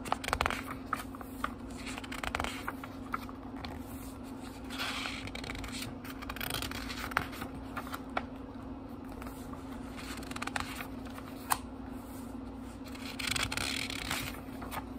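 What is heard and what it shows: Fingertips fan and turn the thin paper pages of a small, thick book, making soft papery rustles and brushing swishes broken by occasional crisp, bright flicks. A faint steady low hum runs underneath throughout.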